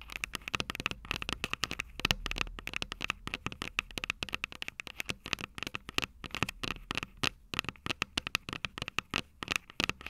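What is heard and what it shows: Long purple nails tap and scratch the metal microphone capsules of an upright Tascam DR-05 recorder. Rapid, dry, bright clicks and ticks follow one another in quick irregular bursts, with scratchy rustling between them and no ring after each tap. The tapping stays close and steady for the whole stretch.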